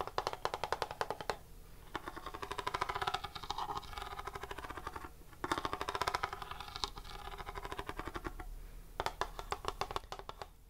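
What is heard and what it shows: A grey plastic Super Mario Bros 3 NES cartridge, a hand-sized hollow hard-plastic shell with a paper label, is held in both hands and tapped with fingernails and finger pads. Rapid, dry clicky taps come in fast bursts with a hollow, mid-pitched knock around 900 Hz. The bursts pause briefly between flurries, and each tap dies away almost instantly.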